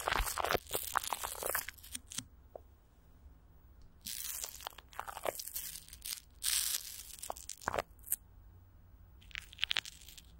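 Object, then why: Plastic film over a microphone grille. Clear plastic wrap with Vaseline is stretched over a hollow microphone grille while a palm presses and crinkles the top and long nails scratch across it. Dense, bright crunchy crinkling arrives in bursts, with quieter gaps between them over a faint low hum.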